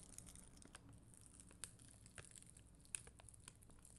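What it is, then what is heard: Plastic rhinestone sticker sheet. A black mascara spoolie, held with long green nails, brushes across a solid, flat sheet of red and clear acrylic rhinestone gem stickers on a white backing. Soft, steady scratchy bristle friction makes a quiet, bright crinkling hiss, with brief sharper ticks as the bristles catch on the gem edges.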